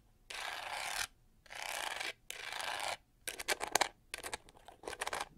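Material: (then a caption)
Plastic. Long nails scratch across the pink-gold studded plastic back of a handheld detangling hair brush, rasping over its pyramid texture in three steady, bright strokes. They then switch to quick clicking taps and short scratches on the same pyramid texture.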